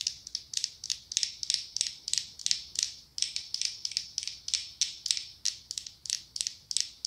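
Long acrylic nails scratch and tap the ribbed glass body of a medium pumpkin-shaped glass candle jar filled with orange wax. Around thirty quick, crisp strokes with a bright, high, scratchy rasp follow one another in a steady rhythm. Each stroke dies away almost at once and leaves no low-end body.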